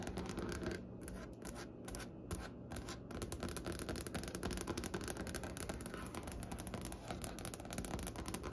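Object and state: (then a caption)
Wooden tabletop tapped with fingernails. Long, pointed, painted nails on both hands tap rapidly across a large, solid, light-colored wooden tabletop with visible grain. The result is a dense, quiet stream of short, dry clicks with a low woody body and bright nail tips, each decaying almost instantly.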